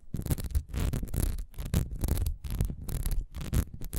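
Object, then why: Ribbed beeswax candle. Both hands scratch the ribbed sides of a solid, beehive-shaped beeswax candle standing upright, using long nails. Rapid, continuous bursts of scratching come through as a dense, low, rumbling rasp, with faint bright edges that briefly dip between strokes.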